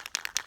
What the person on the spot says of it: after you hear the rattle from the can you generally want to shake it up for about a minute